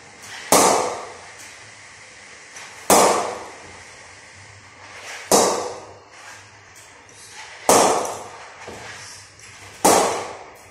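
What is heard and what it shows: A willow SG Players Extreme cricket bat is knocked in by repeatedly hitting a hanging ball with its face. Five sharp, bright wooden knocks ring out about every two and a half seconds, each decaying quickly, with fainter taps in between.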